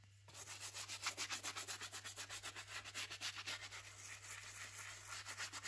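A stiff bristle brush scrubs hard at the tan rubber outsole of an empty Louis Vuitton sneaker, held upside down and covered in cleaning foam, to clean its checkered tread of salt stains. The result is a rapid run of bright, scratchy rubbing strokes, roughly four per second, over a faint steady low hum.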